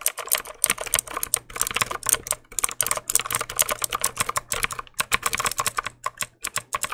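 A black plastic mechanical keyboard is held upright beside the mic while its keys are clicked with fingertips. A rapid, uneven run of sharp, bright clicks with almost no ring, coming in quick bursts with short pauses between them.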